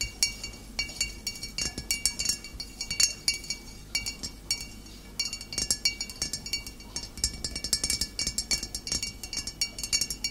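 Long nails tap quickly on the shoulder and body of a full glass bottle of cider vinegar standing upright. The result is a steady stream of bright, sharp clinks that ring only briefly. A short, quieter stretch comes near the middle before the tapping picks up again.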